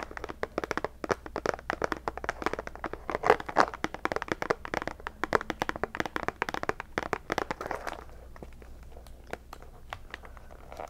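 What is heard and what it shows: Long nails tap and scratch the lid and sides of a round, thin clear plastic tub of Zachary jelly pumpkin candies with a paper label, full of candy. Rapid, crisp plastic clicks and crinkly taps come thick and fast for about eight seconds, with the loudest bursts around the three-second mark. The sound then eases into a softer, steady scratching with only occasional taps.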